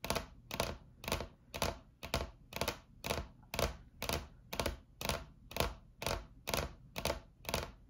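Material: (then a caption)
Laminate. Long acrylic nail tips tap a solid, flat white laminate tabletop, both hands working with fingers clawed. The result is a steady run of quick clicking bursts, about two per second, each a bright, sharp clatter over a soft, dull thud with very little ring.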